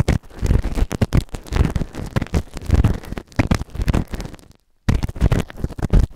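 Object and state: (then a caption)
Silicone ear microphone, scraped inside. A white plastic ear tool held in fingertips scrapes inside the ear canal of a grey silicone ear-shaped microphone, soft and solid, sitting on a round base. Close, muffled, low-heavy scratching and rubbing comes in rapid uneven bursts, with a brief silent gap near the end before the scraping resumes.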